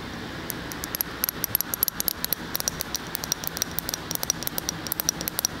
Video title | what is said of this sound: Tapping and Whispering Intense Tingles ASMR on Binaural Mic - With Production Bloopers At the End | everywhere you tap it sounds a little bit different which is really relaxing